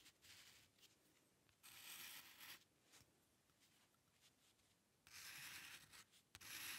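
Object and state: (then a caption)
Paper sheet scratched by a pen nib. The metal nib of a dip pen scratches across a flat sheet of white drawing paper while drawing hair lines. Four longer bright, dry scratching strokes stand out, with fainter short scrapes in between. The sound is quiet and thin, with almost no low end.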